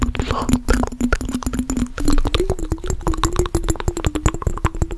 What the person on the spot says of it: fast tapping on mason jar with water